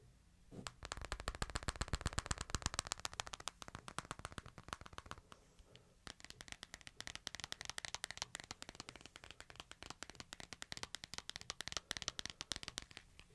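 A hand-sized smartphone in a light, hard plastic case is held in one hand while the other hand's fingertips and nails tap and scratch the case. Dense, fast, irregular clicky taps run throughout, with sharp, dry transients and bright high-end scratching. A brief lull comes near the midpoint before the tapping resumes.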